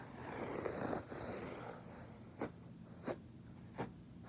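Fingertips scratch and rub the pile of a soft beige fabric carpet, a flat solid floor covering, producing a steady, soft, broadband scraping hiss for about the first two seconds. It is followed by three separate short, brighter scratch strokes, and at the end the knuckles and fingers of a hand press and rub the pile.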